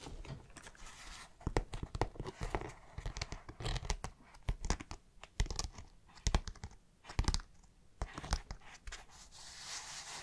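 Fingertips and long nails scratch and rub the side panel of a dark green synthetic canvas nylon backpack. Close, dry scratching and rasping fabric sounds come in irregular bursts with sharp, quickly fading scrapes over a low, soft rustle.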